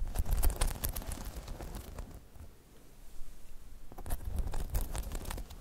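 Long metallic nails on both hands tap and scratch the spikes of a hollow, spiky rubber half-dome balance pod. Quick, irregular clicky taps and scratchy rasps carry a dull, hollow low thump. The activity is busiest at the start, fades to a quiet lull around the middle, then picks up again toward the end.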